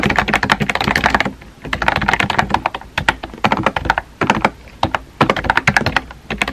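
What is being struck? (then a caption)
Small plastic keyboard with round keycaps. Fingertips type quickly on a small pink and white plastic keyboard with round plastic keycaps and a hollow body. Bursts of sharp, bright key clicks with a hollow clack centered around 1.7 kHz are broken by brief pauses, each tap dying away almost instantly.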